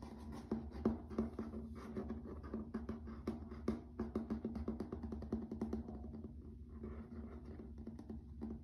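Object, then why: Wood-look laminate floor. Fingertips and nails tap and scratch on a grey wood-grain laminate plank floor, giving quick, irregular knocks with brief scratchy rustles between them. The taps are dull and short with little ring, over a steady low hum that holds a faint tone near 220 Hz.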